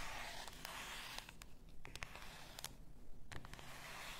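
Long nails scratch the shoulders and the labeled body of a full bath salt bottle, likely glass. A steady, soft, dry scraping hiss is broken by sharp, bright ticks and taps over a low, quiet rumble.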